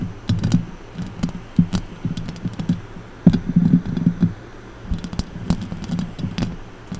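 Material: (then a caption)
Metal mesh. Long orange acrylic nails tap and scratch the hollow metal mesh grille of a silver condenser microphone. Rapid, uneven clicks land as short, dry thumps with a heavy low body, each topped by a sharp bright tick, over soft scratchy rustling between them.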